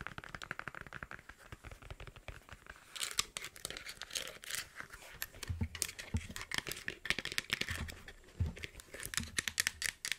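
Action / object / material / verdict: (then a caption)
scrape / over-ear headphones, plastic band and faux-leather ear cups / plastic, faux leather / none. Long blue nails scratch and tap the padded faux-leather ear cups and plastic headband of black over-ear headphones held in both hands beside the mic. The result is a dense, bright run of crinkly scratches and quick dry taps, with soft low thumps mixed in during the second half.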